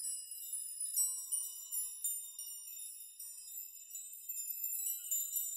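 Fingers brush many long hanging steel nails on a nail chime, making them sway and rock so they clink together. The result is a quiet, irregular run of bright, high metallic tinkles with short rings and almost nothing in the low range.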